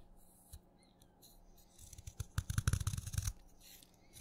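A craft knife shaves thin, layered curls off the side of a solid wet purple chalk stick held between fingers. After a quiet start with one soft tick, a quick cluster of crisp, scraping cuts with a low, dull body builds up, then fades back to near silence.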